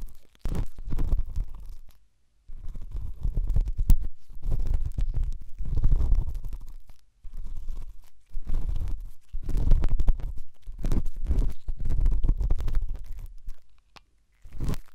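A pen tip scratches and rubs inside the left white silicone dummy ear of a binaural microphone. The result is deep, muffled rumbling and scraping in bursts with brief silent gaps, almost all of its energy very low in pitch.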